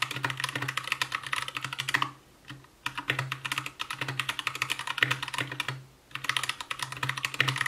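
Fast, continuous typing with the fingertips of both hands on an Anne Pro 2 60% mechanical keyboard with Gateron brown switches, white plastic keycaps, a translucent case and RGB backlight. Dense, bright plastic clacks come in quick bursts, with brief pauses near 2 and 6 seconds and a steady low hum beneath.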